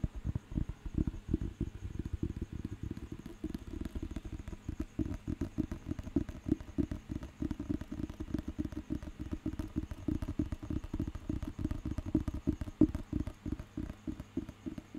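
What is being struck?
Paper dictionary book.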